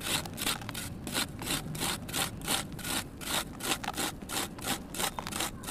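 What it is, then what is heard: Soft sand-cement block scraped into crumbs. A kitchen knife shaves a solid, soft red sand cement block held in one hand, making a steady run of quick, gritty scraping strokes with a bright, hissy texture. Dry crumbs pour down as the block is shaved.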